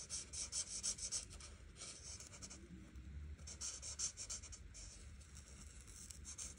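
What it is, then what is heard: Marker coloring on a paper page. An art marker tip is stroked back and forth across a flat paper coloring book page, filling in the background. The clip is a quiet, bright, scratchy rubbing in uneven bursts of quick strokes, with soft low rumble underneath.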